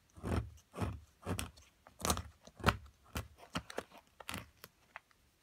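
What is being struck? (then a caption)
Plaster block chipped with a metal chisel. A metal chisel chips at the solid plaster mound of an amethyst crystal excavation block, giving about thirteen separate crunchy, scraping bursts with a dull low thump in each. Bright grit rides over the strokes, which come at an uneven pace and fade quickly, and the block is briefly lifted.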